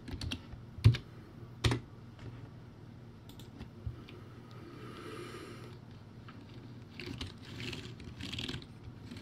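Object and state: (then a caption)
Plastic typewriter-style keyboard being typed on. Fingertips type on a backlit plastic typewriter-style keyboard with round white plastic keycaps. Soft, irregular clicks and taps come at an uneven pace, with two louder, thuddier key strikes near the start. The sound is quiet and mostly low in tone, and each keystroke dies away almost instantly.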